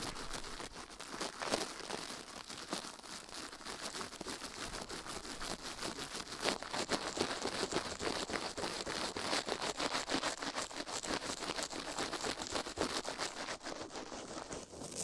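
A gloved hand brushes a silicone ear microphone with a plastic toothbrush, close up, while the other glove lies flat on a metal plate. Fast, bright scratching and crinkling strokes run steadily throughout, each short and dry with little low end.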